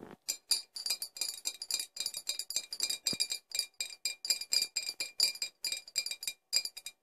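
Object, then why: Glass bottles. Four glass bottles are tapped in quick, uneven bursts, giving bright, short clinks with a clear high ring that dies away almost at once. The taps come close together across the whole clip with barely any low sound.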